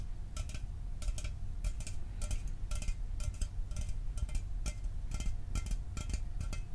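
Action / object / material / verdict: tap / aluminum drink can / aluminum / none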